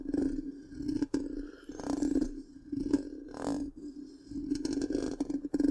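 A long pink fingernail tip scratches the black round metal mesh grille of a large, hollow microphone. Rough, bursty scraping rises and falls over a steady resonant tone near 277 Hz, with bright hissy streaks and a few sharp clicks. It continues in uneven waves throughout.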